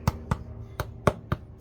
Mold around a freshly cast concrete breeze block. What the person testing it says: you can hear that hollow sound. That means it's separated.